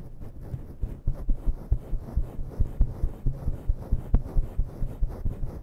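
Long natural nails scratch a grey and black faux-fur microphone windscreen fast with both hands. The result is a deep, muffled rumble of soft thumping bursts that pulse steadily, with almost all the sound low and no bright scratchy edge.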